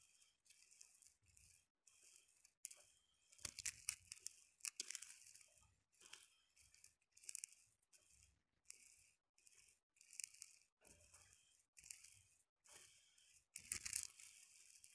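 Long painted nails and fingertips rake and push through a spread of small, hard, dried split chickpeas (chana dal) on a fabric surface. Quiet, bright, dry rattling and scratching comes in short repeated bursts separated by brief pauses, with almost no low end and a few louder crunchy sweeps.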